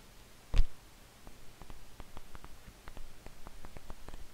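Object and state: Paperback manga book, pages flicked.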